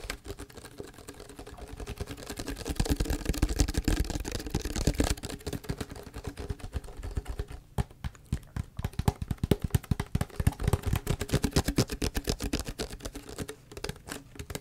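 Fingernails tap and scratch the green label area of a large, clear PET plastic tea bottle that appears mostly empty. The result is a fast, steady stream of dull, hollow plastic taps with a low, thumpy body and scratchy ticks in between. The taps die away almost instantly, with a brief quieter stretch midway before the tapping picks up again.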